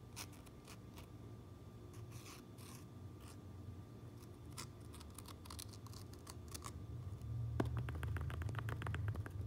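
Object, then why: Fabric trucker cap with sewn patch. Long nails tap and scratch the sewn Uinta patch and red-stitched brim of a fabric trucker cap. Quiet, dry scratches and light ticks run over a steady low hum. Near the end, the tapping becomes quicker, denser and louder.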